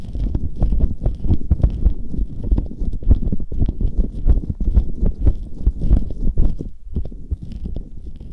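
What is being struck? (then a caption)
Silicone ear covers of a binaural microphone, wet with gel. Bare fingertips and nails rub and stroke soft, hollow silicone ear covers on a Tascam binaural microphone, the covers wet with aloe gel in a sticky, wet ear massage. The sound is a dense stream of muffled, squelching thumps and rubs, almost entirely deep and boomy with very little brightness. Quick soft pulses blur into one another with no talking.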